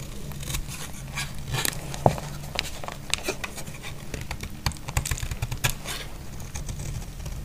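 A thin remaining piece of dry, solid green bar soap is held in the hand and scraped and shaved with a snap-off blade. Crisp, crackly scraping strokes with bright, brittle edges sit over a steady low hum, with a sharper snap near the two-second mark.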